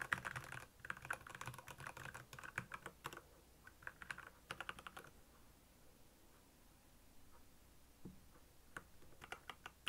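Fingertips type on a black plastic Royal Kludge mechanical keyboard with backlit keys, producing a quick run of short, clicky keystrokes centered around 1.6 kHz. The typing is dense for the first five seconds, then thins to a few scattered taps before a brief final flurry.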